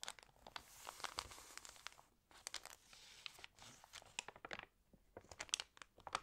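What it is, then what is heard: Glossy paper catalog. Fingernails tap on the glossy paper pages of a fashion catalog, and a page is flipped with crinkling. The result is a quiet, bright scatter of sharp ticks and clicks over stretches of soft rustle.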